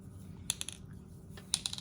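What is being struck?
Plastic mist spray bottle with a mixing ball.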